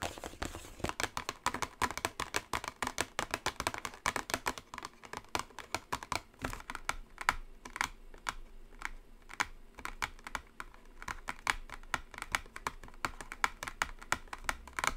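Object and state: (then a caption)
Small cardboard box. Long acrylic nails tap quickly and continuously on a small gold-printed cardboard product box, hollow or holding a bar, resting on a table. The taps are dense, dry, bright clicks that die away almost instantly, in an uneven, keyboard-like patter through the whole clip.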